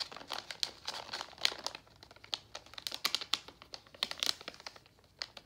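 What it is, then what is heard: Plastic foil candy bag being crinkled. A full pink Nerds plastic foil candy pouch is bent and crinkled by hand. Dense, crisp crackles and crinkles come in quick irregular bursts, bright and airy with no low end. Each crackle stops almost instantly without ringing.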